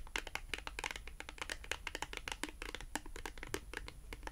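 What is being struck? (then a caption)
Thin cardboard product tag. A small, thin, flat, solid navy blue cardboard France Rugby product tag is held in both hands and tapped and scratched with long acrylic nail tips. A quick, steady run of short, dry, bright clicks with light scratchy texture sounds over a faint low hum, each tap dying away almost instantly.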